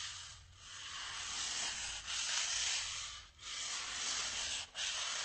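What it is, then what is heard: Styrofoam block rubbed. A small, white, solid styrofoam block held upright is rubbed with the fingertips and palm, producing a dry, sanding-like friction hiss concentrated in the high frequencies. The rubbing continues in long strokes, separated by brief dips in sound.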